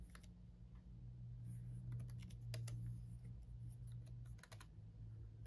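Fingertips of both hands type on a black laptop keyboard with red backlit plastic keys. Quick, irregular light clicks with bright tops sit over a steady low hum throughout.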